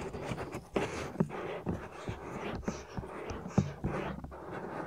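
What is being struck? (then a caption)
Silicone ear of a binaural microphone. Fingertips with medium-length nails rub and scratch the outer ear of a soft, solid silicone ear on a 3Dio binaural microphone. The result is a close, muffled, low-heavy rustling with a few sharper scratch accents standing out from the steady rubbing.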